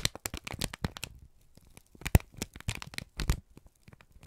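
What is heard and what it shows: A wrinkled brown kraft paper strip, a crumpled sheet, is squeezed and crinkled by both hands. The result is a burst of sharp, dry crackles and rustles that spread from low thumps up to bright high crinkle, with short quiet gaps between clusters.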